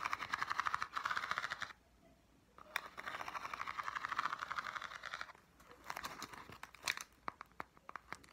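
Long dark-painted nails scratch and tap the ribbed surface of a small, hollow, printed green corrugated cardboard box held in the hands. Dense, crackly scratching centered around 1.2 kHz runs in two stretches separated by a short silence. It then gives way to a series of sharp, bright, dry taps with almost no ring.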